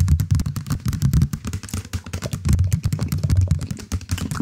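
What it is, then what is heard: Knitted yarn cushion. A knitted or crocheted stuffed cushion, held upright in front of the mic, is scratched and tapped with fingernails across its knit texture. The result is a steady stream of soft, muffled, low thumps with quick decays, laced with faint, bright scratchy ticks.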